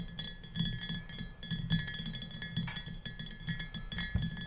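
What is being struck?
Glass mason jar.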